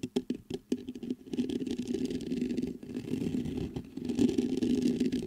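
Fingertips knock and tap on the mesh grille of a black metal USB microphone, giving a quick run of separate dull, thumpy hits. These give way to steady close-up scratching and rubbing on the grille, a dense low-mid rustle centered around 250 Hz.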